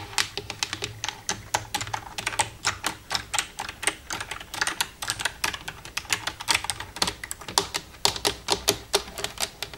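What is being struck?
Plastic computer keyboard.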